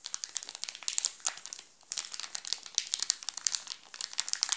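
Fingertips scratch and pinch the red-and-blue plastic film wrapper of a wrapped Nestlé chocolate bar, making it crinkle. A dense run of crisp, bright crackles and sharp ticks continues throughout, with almost no low end, and the crackles pause briefly just before the two-second mark before resuming.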